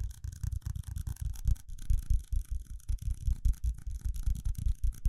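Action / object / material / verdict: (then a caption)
scrape / small ridged plastic cup / plastic / none. A small, hollow, empty red ridged plastic cup is held in a hand close to the mic while fingertips and nails tap and scratch its side. The result is a steady stream of quick, dull, low thumps layered with a bright, scratchy rasp, each tap stopping almost at once.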